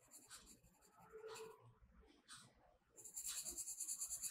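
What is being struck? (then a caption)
Colored pencil on a paper coloring page. A blue colored pencil is rubbed and shaded across the page of a spiral-bound paper mandala coloring book lying flat. Soft, bright scratchy strokes come in uneven bursts of hiss, then grow louder and faster into dense back-and-forth shading near the end.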